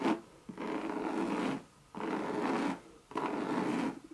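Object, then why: Coated canvas handbag. Long red nails tap and scratch a Louis Vuitton monogram coated-canvas bucket bag with a leather rim and brass feet. A brief tap is followed by three long, dry, raspy scratching strokes across the canvas, each separated by a short pause.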